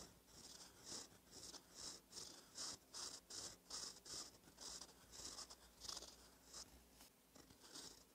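A gold metal fountain pen nib, held by the fingertips, scratches across a thin cream lined paper notebook page while writing cursive. About sixteen short, dry, bright scratching strokes come in uneven bursts, with a faint low hum underneath.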